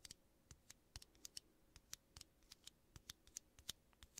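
Fingertips and nails tap and scratch two small, hollow, empty aluminum coffee capsules of the same kind, one held in each hand close to the mic. The clip is a quiet string of about nineteen sharp, bright metallic ticks and scrapes that die away almost instantly. A faint low hum sits underneath.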